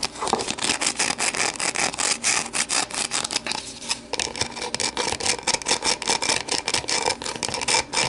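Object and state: Plastic deli container.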